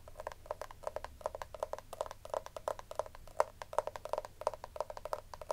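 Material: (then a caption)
Plastic. Long nails scratch and tap the raised lace-pattern lid of a small, round, hollow pink plastic compact powder case. The result is a quick, uneven run of dry, hollow clicks and scrapes with a plasticky tone around 600 Hz. Each sound stops almost instantly, with no ringing.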